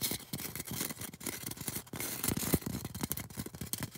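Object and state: Styrofoam cone.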